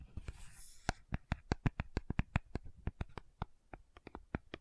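Long nails scratch and tap a small, hollow, rectangular pink cardboard sunscreen box held in both hands. A brief soft scratching hiss gives way to a quick, uneven series of about twenty dry, dull taps. Each tap is a short, low thud that dies away almost instantly.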